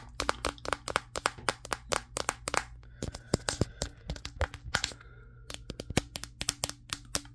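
Fingertips rapidly tap the matte glass back of a Samsung Galaxy S23, the recording phone itself, held in both hands. Dozens of sharp, dry, bright clicks come in quick irregular bursts, with a short pause near the middle. Each tap dies away almost instantly over a faint steady low hum.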